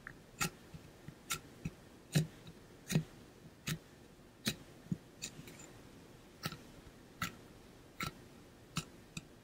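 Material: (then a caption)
Metal. Fingernails tap and scratch on a hollow pink-blue ombre painted metal water bottle with a metal base, held close and moved from ear to ear. Short, irregular taps give a soft low thud near 150 Hz with a bright, brief metallic click that fades almost at once. Quieter scratches fill the gaps in a quiet setting.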